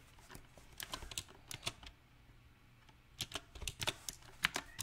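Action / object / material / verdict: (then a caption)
tap / mechanical keyboard with round plastic keycaps on a metal plate / plastic / none. Fingertips of both hands type unevenly on a small 68-key backlit mechanical keyboard with round typewriter-style plastic keycaps set on a silver metal plate. Sharp, bright clicky keystrokes come in irregular bursts, with a quiet pause in the middle before the typing picks up again, each click dying away almost instantly.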